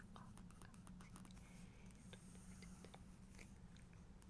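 Fingertips and long nails trace, scratch and tap across an open spread of glossy paper pages showing a helicopter photo in a photo book, staying on the same spread. Soft scraping is broken by scattered sharp, bright ticks over a steady low hum. The level stays quiet and even throughout.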